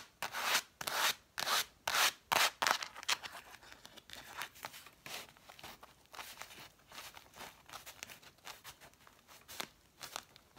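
Long nails rub and scratch along the red cloth-covered spines of a stack of cloth-bound hardcover books. A run of loud, bright, dry strokes in the first three seconds gives way to softer, quicker scratching at an uneven rhythm, with a few louder strokes near the end.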